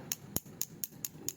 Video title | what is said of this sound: สมเด็จปรกโพธิ์ ปู่นาค เนื้อผงใบลาน วัดระฆัง 2497 หลังมีรอยจาร | ถ้าพระสมเด็จถึงยุคเนี่ยเสียงจากแก๊งๆเลยนะครับ